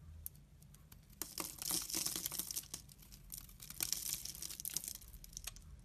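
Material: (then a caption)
Soap. A solid, dry, fibrous brown laundry soap bar held in the hand is shaved along its length with a utility knife blade, scraping off flakes. The clip is a run of dense, bright crackling scrapes that swell louder through the middle and again near the end, with little low-end weight.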